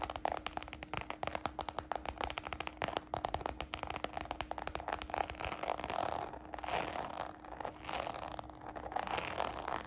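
Long nails and fingertips tap and scratch the textured side of a small, hollow, red glossy croc-embossed patent faux leather baguette purse. Rapid, crisp clicking taps fill the first six seconds, then give way to longer, swelling scratchy rasps.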